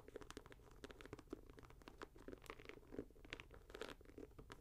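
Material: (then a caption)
Leather, mesh. A leather and mesh Nike Air Max 90 sneaker is held in the hand while fingers scratch its upper and pull its laces. The result is a quiet, close run of dry, crunchy scratches and quick rustling bursts with a mid-range body, each dying away almost at once.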